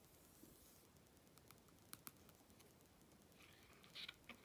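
Fingertips with long red nails stroke and rub the thick glossy paper pages of an open Vogue magazine lying flat on black fabric, then lift and turn a page. A soft, quiet, bright hissing rub runs throughout, broken by two sharp ticks near the middle. Crisp, crinkling paper bursts come at the end as the page is turned.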